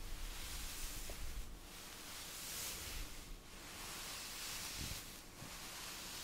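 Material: Nothing is struck.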